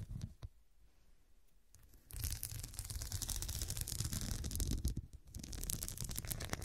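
Long nails scratch back and forth across a small cushion covered in square glass studs. After a quiet start with a couple of faint taps, a dense, bright, rasping scratch begins at about two seconds and runs almost continuously, dipping briefly near five seconds before resuming.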